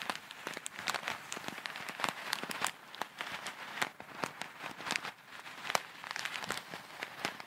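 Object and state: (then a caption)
Plastic bag of foam beads. A small, clear plastic zip bag packed full of tiny colourful foam beads is held in both hands with long red nails and squeezed, crinkled and shaken close to the microphone. It makes a dense, quiet crackle of sharp, dry clicks and rustles that patter like rain, bright and thin with almost no low end.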